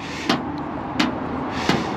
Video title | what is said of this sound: INSPECTION 1984 CHEVROLET SCOTTSDALE C20 (FRENCH LANGUAGE) | ça sonne clair en plus